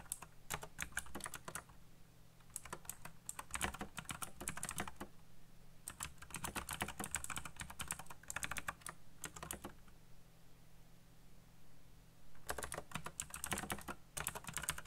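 Fingertips type fast on a backlit black plastic mechanical keyboard with RGB lighting and hollow key switches. Bursts of bright, dry clicking and clacking come in quick runs, separated by short pauses. A steady low hum sits underneath throughout.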